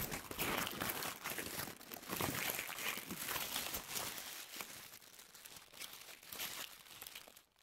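A crumpled white paper tissue ball is squeezed and crinkled in both hands, worked with long nails and fingertips. Dense, bright crackling and crinkling runs almost continuously with uneven swells in loudness, then fades out at the very end.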